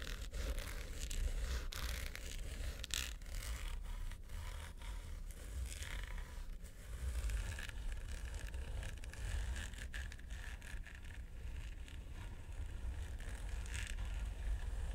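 Long nails scratch and tap along the sides and corners of a small, hollow, mint-green quilted hard plastic vanity suitcase. The result is a steady run of dry, rasping scrapes broken by quick taps, with occasional brighter, zipper-like streaks over a dull, low, hollow undertone.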